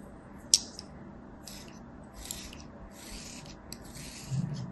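A thin metal blade scores and scratches lines into a hand-sized solid ball of beige kinetic sand held in one hand, cutting a crosshatch pattern into its surface. A sharp bright tick opens the clip, followed by soft, grainy scraping strokes in the high range over a faint low rumble.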